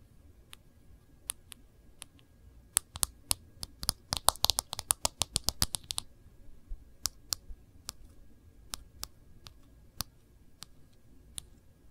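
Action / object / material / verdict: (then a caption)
tap / smartphone in a thin plastic case / plastic / none. Long glossy nails tap and trace along the glass back and case edge of an iPhone in a thin orange-brown case held upright. Sharp, bright, dry clicks come spaced apart, bunch into a rapid flurry of taps in the middle, then thin out again over a faint scratchy tracing sound.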